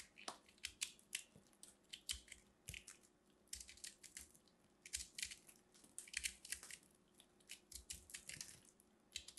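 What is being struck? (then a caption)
Soap bar. A small blade carves and scrapes the textured surface of a solid, crumbly purple dried hard soap ball held in a hand with long red nails, sending flakes falling off. Many short, quiet, bright crunching scrapes come in quick irregular bursts, each dying away instantly with no ring.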